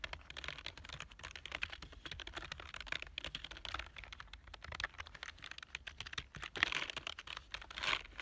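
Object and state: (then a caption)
Plastic computer keyboard. One hand types rapidly with its fingertips on a black plastic full-size keyboard with a hollow body. A dense stream of short, bright, clicky keystrokes runs throughout, with a couple of louder bursts near the end. Each click dies away almost instantly.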